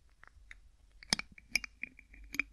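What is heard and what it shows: One hand holds a small, hollow, clear PET-like plastic bottle while the fingertips of the other grip and twist its white plastic screw cap. The twisting produces a series of sharp, bright, dry clicks with almost no ring, louder in the second half of the clip, over a quiet background.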